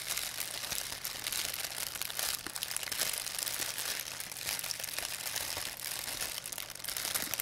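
A thin, empty white plastic pharmacy bag is crumpled and rubbed with fingertips and long nails. The result is a steady, dense stream of bright, crisp crinkling and crackling with almost no low end.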